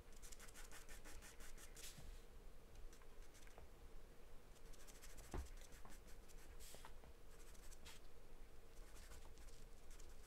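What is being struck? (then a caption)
Paper sheet drawn on with a charcoal pencil. A hand scribbles and shades with a wooden charcoal pencil across a charcoal portrait on a large white paper sheet taped flat to a dark surface. Quiet, continuous scratchy rubbing comes in bright, hissy strokes of varying length, with a brief sharper tick midway, over a steady low hum.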